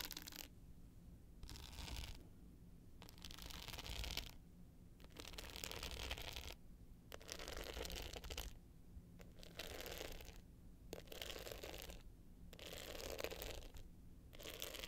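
Long pointed nails scratch the dark blue glitter face of a small rectangular hollow hard-case clutch with a gold metal frame, held tilted up. Repeated bursts of dry, bright, gritty scratching alternate with short quiet gaps. A low steady hum runs underneath throughout.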